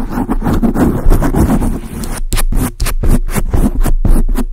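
Long acrylic nails scratch and tap a large dark grey foam windscreen on a microphone. Dense, muffled, low scratching fills the first half, followed by a series of distinct, soft thuds with short decays. Most of the energy sits in the low end.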